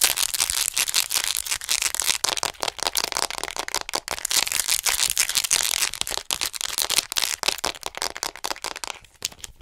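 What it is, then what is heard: Hollow plastic anatomy figure. Long acrylic nails tap and scratch fast on a hollow white plastic acupuncture anatomy figure, about 50 cm tall, held upright in front of the mic. The result is a dense, continuous stream of bright, crisp clicks and scratchy rasps with almost no low end. It thins out and quiets in the last second.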